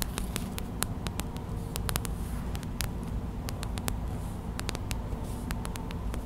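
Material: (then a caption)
Plastic. Long white acrylic nails tap quickly on a small clear plastic gel bead hot/cold pack, a pouch filled with white gel beads. Sharp, bright plastic clicks rise irregularly over a steady low rumble that makes up most of the sound.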